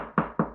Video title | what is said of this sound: Détecter les murs porteurs et cloisons semi porteuses (danger ⚠️) | là, on est complètement en creux, alors que ce mur-là, il est totalement porteur